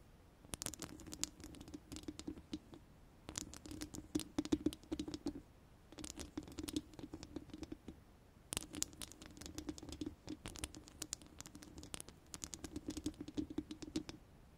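Long orange acrylic nails of both hands scratch and tap the round steel mesh grille of a large studio microphone, a hollow mesh dome. Dense, bright patter and scratching comes in bursts separated by short pauses, over a steady hollow mid-low ring from the grille.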